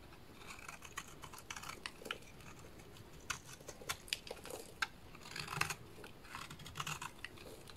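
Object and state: Bar soap being shaved.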